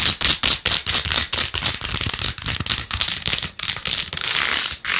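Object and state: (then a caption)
Plastic phone case with faux-pearl beads. Long nails scratch fast across the pink faux-pearl beads of a rose-gold plastic phone case held in one hand. Rapid, uneven bursts of bright, crisp scratching and light clicking rattle repeat in quick succession with very little low end.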